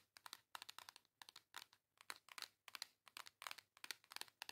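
Long yellow acrylic nails tap and scratch the front cover of a flat, hand-sized pink cardboard WYCON Reef Cheeks eyeshadow and face palette with a thin case. Quick clusters of crisp, bright clicks and scratchy crinkles come in rapid bursts with short pauses between them. Each sound is dry and stops at once, with no low end.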